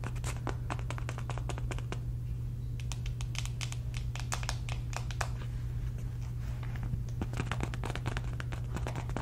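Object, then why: Soft fabric cosmetic pouch. A soft, hollow polka-dot fabric cosmetic pouch is held in the hand and scratched and rubbed with long red nails. Rapid, dry scratching ticks flicker continuously at a steady, quiet level over a constant low hum.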